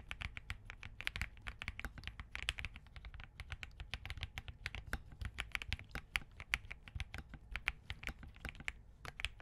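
Fingertips of both hands type continuously on a compact Spark67 mechanical keyboard with Crane switches, a POM case and plastic keycaps. A steady stream of short, crisp clacks carries a bright click near 2 kHz over a soft low thump, and each keystroke dies away almost instantly.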